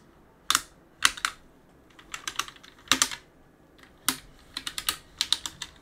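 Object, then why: Mechanical keyboard with plastic keycaps. A gloved hand wipes and rubs the plastic keycaps of a backlit mechanical keyboard with a cloth, pressing keys as it goes. Sharp, bright clicks come in uneven bursts, some single and some in quick runs, with almost no low end. Each click stops almost at once, with soft rubbing in between.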